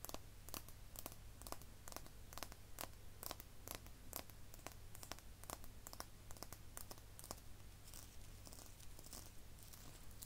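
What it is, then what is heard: Frosted glass cosmetic bottle. Long manicured nails tap and scratch the body of a small, full-looking pink frosted glass foundation bottle with an embossed flower and a ribbed metallic cap, held in the hands. Quick, crisp clicks and scratchy ticks with bright edges and almost no ring come one after another over a steady low hum.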